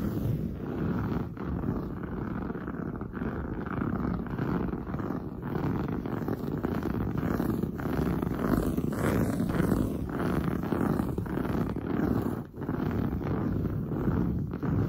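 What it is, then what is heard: Woven fabric sofa upholstery. Long blue nails scratch fast over padded, grey-brown textured woven sofa upholstery, making a dense, continuous rasping scuff. The sound sits mostly in the low and middle range with little brightness, and it stays at a steady level apart from one brief dip near the end.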